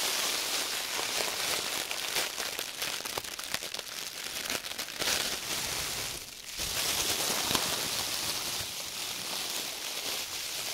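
An empty, thin, clear printed plastic produce bag is scrunched and crinkled between red-gloved hands. A dense, steady crackling rustle sits mostly in the bright high range with almost no low end. It eases briefly into a quieter dip near the middle before the crinkling picks back up.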